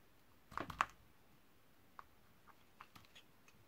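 A utility knife blade scrapes and shaves thin slices from a partly carved, solid purple Camay Magique bar soap held in the hand over a pile of shavings. A burst of soft, crisp scraping comes first, followed by a few faint, sparse clicks and ticks in a quiet setting.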